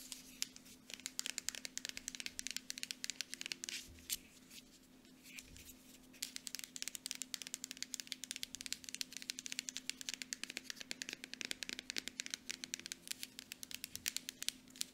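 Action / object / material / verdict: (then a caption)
tap / plastic lotion bottle / plastic / none. Long nails tap rapidly on the front of a small, partly full Aveeno moisturizer bottle made of cream plastic with a pump cap. Its hollow body gives back bright, dry clicks that stop almost instantly. The taps come in dense bursts, easing briefly around the fifth second before picking up again.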